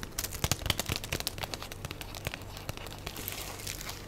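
Long blue nails tap and scratch the top of a flat, full pack of sliced yellow cheese in clear plastic wrap with a paper label, resting on a black tray. The result is a quick, irregular stream of crinkly plastic clicks and scratches, bright and crackly with soft low thumps. The sound is busiest and loudest in the first half, then thins into quieter rustling.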